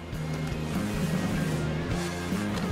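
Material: Nothing is struck.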